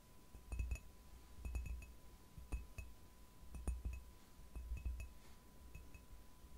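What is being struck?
Ceramic mug.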